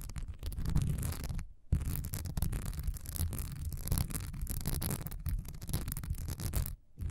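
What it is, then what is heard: Wax pillar candle, scratched. A solid cream wax pillar candle with a honeycomb, diamond-textured surface stands upright and is scratched fast with long nails. The result is a dense, continuous run of rough, rumbling scratching, heavy in the low end. It breaks off briefly near 1.6 seconds and again near 6.9 seconds before resuming.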